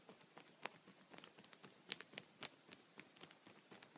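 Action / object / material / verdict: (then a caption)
tap / thin plastic sheet protector on a towel, tapped with a pencil / plastic / none. A thin, clear plastic sheet protector (punched pocket) resting on a towel is tapped lightly with a wooden pencil, first with the eraser end and then with the tip. The result is a quiet, irregular series of short, bright, crinkly ticks and pats that die away instantly, with almost no low end.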